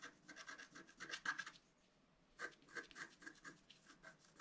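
A pointed wooden stylus scratches a flat A4-size scratch-art card, its black coating over a colored foil layer, resting on a table. Quick, bright, raspy strokes run for about a second and a half, then a short quiet pause, then resume for the rest of the clip. The strokes have a thin scratchy tone with no low end.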